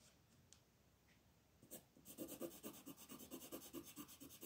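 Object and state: Paper coloring page being shaded with pencil.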